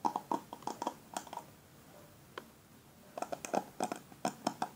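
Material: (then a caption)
Plastic. Fingertips and nails scratch and brush across the plastic pin bristles of a black paddle hairbrush held in the hand. About eighteen short, dry plastic clicks and flicks with a tick near 840 Hz and a bright edge come in quick clusters, separated by a quiet pause in the middle. Each one stops almost at once with no ring.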